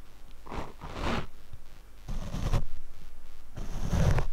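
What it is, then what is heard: Foam microphone windscreen brushed. A paint brush sweeps across the black foam windscreen on a Rode microphone, making soft, close swishing strokes. Each stroke gives a breathy, bright hiss over a heavy, muffled low rumble, and the strokes grow louder toward the end.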